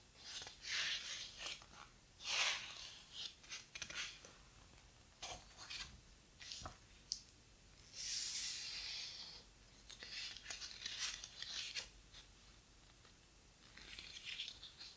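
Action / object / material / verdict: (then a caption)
scrape / large hardcover book with heavy paper pages / paper / none. A flat hand and fingertips rub and smooth a heavy paper page of a thick, large hardcover book lying open on a table, then grip the page's edge to turn it. Soft, bright papery swishes and rustles come in short bursts, with one longer, louder sweep as the page turns.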